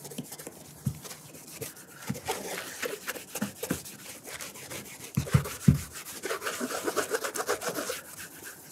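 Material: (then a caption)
Leather. A burgundy leather cap-toe oxford with a wooden shoe tree inside is held in one hand and wiped with a white cloth wrapped over the fingers. The result is quiet, irregular rubbing and swishing strokes, with a few soft low thumps as the cloth and shoe shift.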